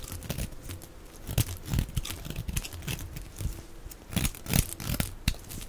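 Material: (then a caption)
Soap. A knife blade scrapes shavings off the face of one solid, palm-sized oval bar of dry soap, white inside with a red outer layer, held in the hand. Dry, crinkly scraping and crunching strokes come in uneven bursts, with a low, heavy thud-like body and bright crackle on the sharper cuts.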